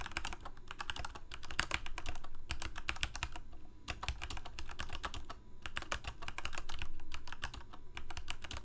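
Fingertips of both hands type rapidly on a full-size black plastic Corsair mechanical keyboard with lit keycaps. The result is a fast, uneven stream of sharp, bright clacks with a low thump under each press, over a faint steady low hum.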